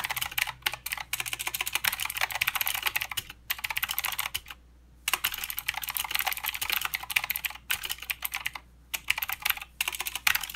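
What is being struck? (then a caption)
Mechanical keyboard with plastic keycaps. Both hands' fingertips type continuously on a plastic mechanical keyboard with clicky blue switches and plastic keycaps. Rapid, bright, crisp clicks run in bursts, broken by several short pauses, with a low steady hum underneath.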